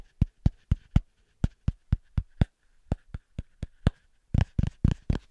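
A small, thick round cork coaster held in one hand is tapped quickly with the fingertips of the other hand. It makes 18 short, dull, low thuds in a steady rhythm, with a brief gap after the first four and again near the middle. The last few taps come louder and fuller, bunching closer together.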